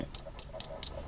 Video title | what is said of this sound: Customizing White Flowers Tutorial | I'm tapping it pretty hard and it just does not give at all